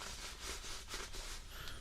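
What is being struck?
Nothing is struck.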